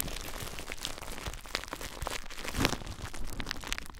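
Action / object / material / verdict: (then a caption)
scrape / plastic bubble wrap / plastic / none. Clear plastic bubble wrap wrapped tightly around a recorder is squeezed and crinkled by fingers. Dense, irregular crackling and crinkling fills the clip with brief bright snaps over a low rumbling handling noise, peaking in a sharper crackle midway.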